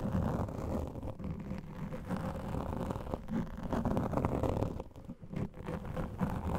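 Fingertips and short nails of both hands scratch and rub a large, soft, porous black foam windscreen over a microphone. The result is a dense, muffled, low rumbling scratch with a steady texture and almost no bright content. It eases briefly near the five-second mark before resuming.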